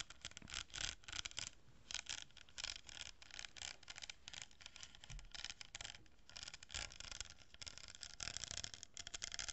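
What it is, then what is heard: Cardboard tube with plastic pearl beads scratched by nails. Long nails scratch along a hollow cardboard tube, held horizontally, and across a glued row of plastic pearl beads on it. The result is quiet, bright, dry scratching in quick bursts of strokes, with little low end and almost no ring after each stroke.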